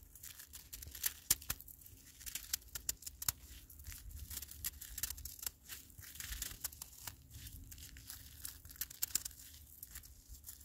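A gloved hand grabs and holds a handful of granular snow that has turned to ice, its fingers squeezing and crumbling it. The result is a steady stream of dense, bright, crackling crunches with sharp little ticks scattered throughout, over a faint low rumble.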